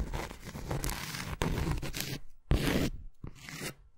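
Long fingernails on both hands scratch and tap the face of a round, flat, solid granulated cork coaster held up in the air. The result is a dense, crackly rasping with a heavy low thump underneath, broken by short silent gaps and resuming in fresh bursts.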